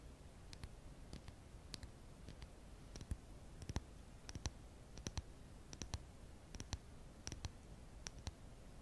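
A small, flat, hand-drawn paper or cardstock cutout of a pink lipstick, thin and not hollow, is held in both hands, handled, bent and tapped with long pink acrylic nails. Quiet, sharp, dry clicks and taps come in an uneven run over a soft, low background hush, each dying away almost instantly.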